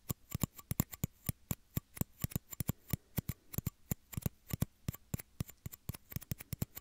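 Small, hollow, empty clear plastic shot glasses cupped over the ears of a microphone are tapped with fingertips and short nails. About forty quick, dry taps follow in an uneven, steady rhythm, each a hollow low thump with a bright clicking tick that stops almost instantly.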